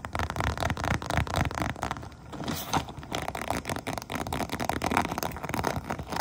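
Long painted nails tap and scratch across the textured top of an iridescent, holographic faux-crocodile vinyl pouch lying flat. The result is a dense run of quick, dry clicks mixed with crackly scraping, each tap dying out almost at once.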